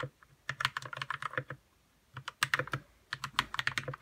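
Fingertips type on a white 60% RK61 mechanical keyboard with plastic keycaps and lubed red switches. There are three bursts of quick, crisp keystrokes separated by short pauses. Each keystroke is a short clack with a soft low thump under a bright tick.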